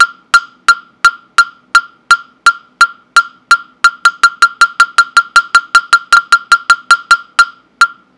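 A hollow carved wooden mokugyo fish block with a slot opening, held by hand near the microphone, is struck with a mallet in rapid, sharp knocks. About 30 dry, hollow wooden clicks with a clear tone near 1.4 kHz and bright overtones ring only briefly. The strikes start evenly spaced, then speed up before a final knock.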